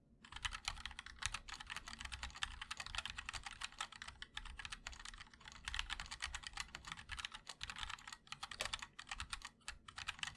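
Fingertips of both hands type rapidly and continuously on a compact MOD-L mechanical keyboard with linear switches, a black aluminum case and white and black plastic keycaps. A dense stream of short, bright clacks with a soft low thump under each keystroke runs steadily for about ten seconds, each click stopping almost instantly with no ring.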